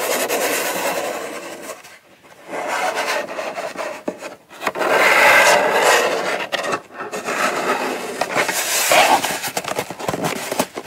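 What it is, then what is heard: Cardboard box. Long fingernail tips scratch and tap the lid edge and side of a small, hollow brown kraft cardboard gift box with its lid on, then both hands hold and scratch the box. The result is dry, papery rasping in uneven bursts with brief quiet gaps, mostly mid-range and bright with almost no low end.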